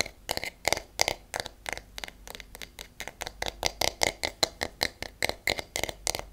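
Long nails and fingertips tap on the wooden back and handle of a wooden paddle hairbrush. About 31 quick, dry, bright clicks with almost no ring, in an uneven patter.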